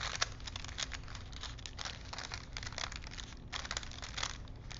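A thin printed paper film strip is wound by hand between two wooden dowel spools, rubbing and crinkling the paper. Dry, bright crackles and rustles come in irregular bursts over a low, steady background hum.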